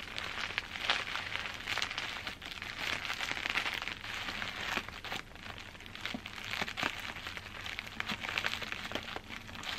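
Fingers with long green-painted nails grip and scratch a large crumpled mass of clear plastic bubble wrap held close up. A steady, bright crinkling fills the clip, broken by sharp little pops and snaps, with almost no low end.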